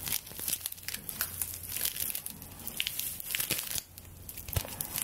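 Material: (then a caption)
Straw. Long nails scratch and rub the bound straw stalks of a straw broom's handle, held above the microphone. A dense, bright, crackling crinkle of rapid dry scrapes runs throughout, over a faint steady low hum.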